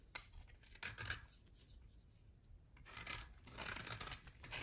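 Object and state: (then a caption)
Bar soap. A utility knife blade scrapes a solid cream bar of soap with a thin dark edge, held in the hand, until the bar is left bare. Bright, dry scraping and rasping strokes come in bursts, with a quieter stretch in the middle before a longer run of steady scraping.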